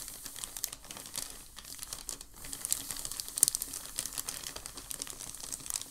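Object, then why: Thin paper packing sheet. A palm sweeps and rubs across a large, thin, creased sheet of packing paper lying on a dark table. The result is a quiet, steady, bright crinkling texture scattered with short, sharp crackles, plus a faint steady low tone underneath.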